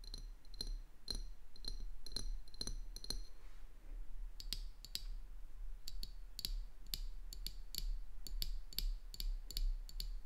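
Long dark-painted nails tap and click on the body of a small 330 ml amber glass bottle with a metal screw cap and a white printed label, held in one hand and apparently filled with liquid. Sharp, bright clicks ring briefly with a high glassy tone, coming in quick irregular bursts with a short pause partway through, over a steady low hum.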